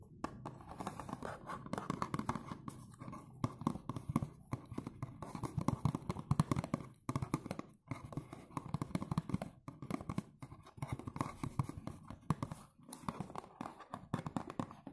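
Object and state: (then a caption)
Cardboard perfume box. Fingers tap and scratch the sides and front of a dark blue cardboard perfume box standing upright. The result is a dense run of dull, low taps and papery scratches with very short decay, broken by a few brief pauses.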